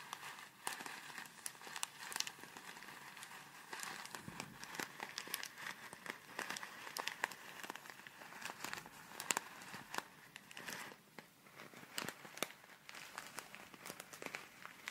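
A small clear plastic zip bag full of tiny colourful foam beads is squeezed and crinkled with fingertips and long red nails, then shaken. The result is a steady, dense stream of soft, bright crinkles and crackles with quick ticking snaps and almost no low end.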